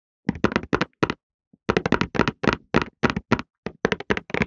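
A printed cardboard tissue box, hollow and full of tissues, is held in both hands and tapped quickly with the fingertips on its sides and top. The taps come in short, irregular bursts separated by brief pauses. Each tap is a dry, hollow knock that dies away almost instantly.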